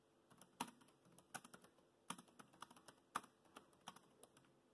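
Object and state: Plastic laptop keyboard being typed on.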